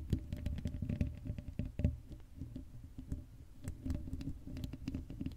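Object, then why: Metal mesh microphone grille. Long acrylic nails scratch across the hollow black metal mesh grille of an uncovered Blue Yeti microphone. The result is a dense, rapid patter of scratchy ticks and soft thumps with a heavy, muffled low rumble, its loudness swelling and dipping throughout.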